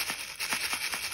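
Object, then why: Wrapped package with small metal rings inside. A wrapped gift package with metal jump rings inside is shaken, producing a steady, bright rattling of small metal pieces in rhythmic pulses. The sound is dominated by high, crisp jingling with almost no low end.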